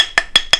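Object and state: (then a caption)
Cast gypsum sample that rings when tapped. A cast gypsum sample made with a reduced dose of additive is tapped three times in a hardness-by-sound test. Each tap gives a short, bright, ringing click with a clear tone near 3.3 kHz and almost no low end. The sample rings when struck.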